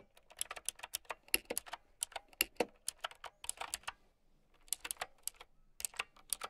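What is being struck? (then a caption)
Plastic mechanical keyboard with round keycaps. Long nails tap out a fast, uneven run of sharp, bright clicks on a plastic mechanical keyboard with round keycaps. Each click is short and dry with almost no ring, and there is a brief pause near the middle before the typing resumes.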